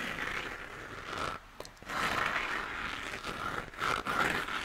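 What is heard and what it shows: Fingertips and nails scratch and tap the cratered surface of a hollow, textured plastic moon lamp that is lit white. The sound is a steady, dry scraping hiss with a bright edge, centered in the upper mids. It pauses briefly near the middle and again toward the end.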